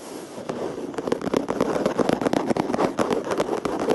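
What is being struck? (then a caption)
Plastic surface. A plastic surface is tapped, scratched and rubbed in quick succession. Many sharp, dry taps with almost no ring come over a soft, continuous rubbing and scratching hiss. The sound sits mostly in the low-mid range, with little deep bass or bright top.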